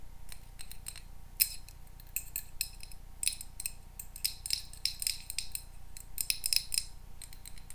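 A small square glass candle holder filled with pink wax is held in the hands and tapped and scratched with paper clip nails on the fingertips. Quick, bright clicks and short scratchy bursts come in uneven clusters over a steady low hum and a faint constant tone.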